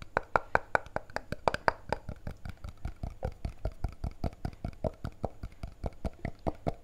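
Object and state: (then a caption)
Plastic liquid bottle, tapped. A small clear-blue plastic antiseptic bottle with a white plastic cap, partly filled with blue liquid, has its cap and neck tapped fast with the fingertips and nails of the other hand. About 29 quick, dry taps sound in a steady stream. The louder early hits have a hollow plastic knock, and each tap dies away almost at once.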